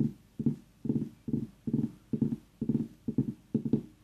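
Long nails tap and scratch the rind of a tiny, fist-sized, solid orange pumpkin. Quick bursts of dull, hollow knocks, low and mid-pitched, repeat in an uneven rhythm about twice a second. Each burst dies away almost at once, with no bright ring.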